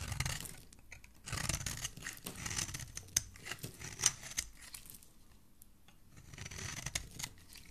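A metal blade shaves along the face and edge of a small, solid, cream-colored bar of soap held in a hand with dark-painted nails, peeling off soap flakes. The sound is a series of dry, bright scraping and rasping strokes with a few sharp clicks, rising and fading between quieter pauses.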